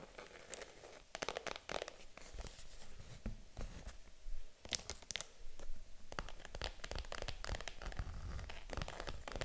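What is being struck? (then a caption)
Small faux leather handbag. Long acrylic nails tap and scratch the front panel of a small pink vegan-leather Matt & Nat mini handbag, held upright, hollow and apparently empty. Quick, dry clicks and crisp scratching strokes come in uneven bursts, with a low thud in each tap and a bright, papery rasp over it.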